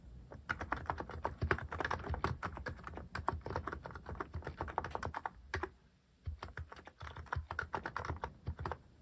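Continuous fingertip typing on a Hanmumu mechanical keyboard fitted with plastic cat keycaps produces a rapid stream of short, dull clacks with a solid low thump. The typing breaks briefly just before the six-second mark, then resumes at the same steady pace.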